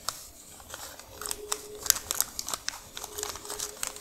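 Long nails tap, scratch and press a thin, white paper receipt folded into pleats and resting on a dark surface. The result is a quiet, bright run of dry crinkles and sharp, short ticks with almost no low end, each click dying away instantly.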